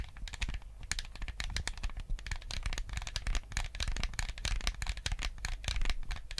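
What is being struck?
Plastic game controller.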